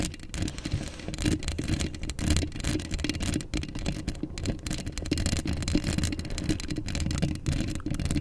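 Long acrylic nails scratch a hollow steel mesh microphone grille up close, making a steady stream of quick, rasping scrapes over about eight seconds. The sound is dominated by a heavy low rumble with a faint hollow tone, while thin, brushy highs flicker with each stroke.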